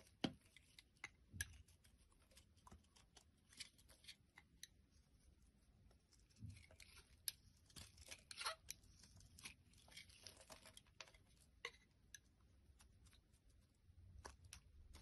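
A blade scrapes and carves flakes off the surface of a solid pink oval bar of soap held in the palm. The sound is a quiet run of dry, crisp scraping and crunchy, tearing cuts with bright edges and sharp little clicks. There are occasional low thumps between the strokes.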